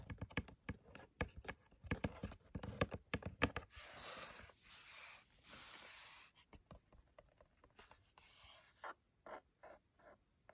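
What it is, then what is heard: Cardboard box scratched with nails. Long nails trace over the top of a closed white cardboard phone case box with lettering and scratch along its edge. Quick dry taps and clicks come first, then longer bright scratching swipes in the middle, then sparser taps and short scrapes.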